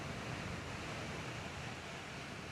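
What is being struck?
Nothing is struck.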